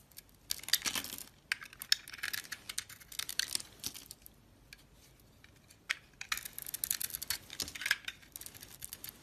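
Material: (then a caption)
Soap. A metal utility blade shaves thin slices off a hand-sized, solid oval purple glitter soap bar with purple shimmer, "Anita" lettering and a white inside. The result is a string of bright, crisp scraping and crackling strokes in bursts, with short pauses between them.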